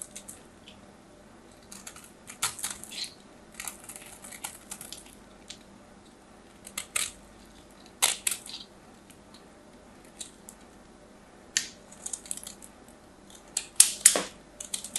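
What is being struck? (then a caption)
Bar of soap. A small knife blade scrapes a partly carved solid white bar of soap held in the fingers, making short, bright, dry scratching bursts at irregular intervals. The scrapes are quiet and crisp with no ring, separated by near silence, and a few louder strokes near the end.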